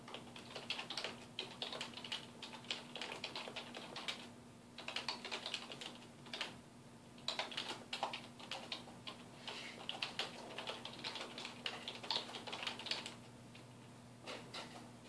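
Fingertips of both hands type on a black plastic computer keyboard resting on a wooden desk, producing rapid, bright, clicky key taps in bursts with brief pauses. The taps are crisp and short, sitting over a faint steady low hum.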